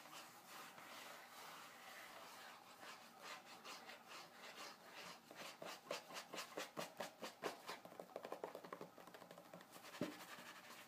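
Fingertips and nails of both hands scratch and rub across the glossy paper page of an open magazine showing a parts-catalogue spread. A soft, steady papery rubbing gives way to a quicker run of crisp, rhythmic scratching strokes, ending with one sharper scrape near the end.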